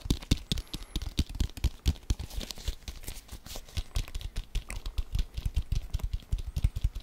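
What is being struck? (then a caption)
Leather football. A brown leather American football, hollow and inflated, is held in both hands and speed-tapped with fingertips and nails. It gives a fast, uneven stream of short, dull, low thumps with crisp bright clicks from the nails. Each tap dies away almost instantly.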